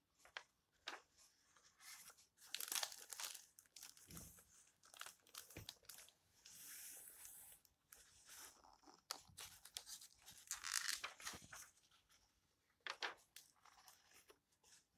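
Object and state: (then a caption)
Old paper book pages. Fingertips with long red nails rub and turn the yellowed paper pages of an open old book. The result is a quiet run of bright, dry rustles, crinkles and short papery crackles with almost no low end.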